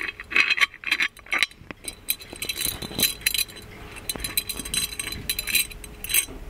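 The chained lid of a gold-plated metal magic lamp is lifted, lowered and clinked onto its hollow body. Quick, bright metallic clinks and light chain rattles come in a busy, irregular series, each dying away almost at once.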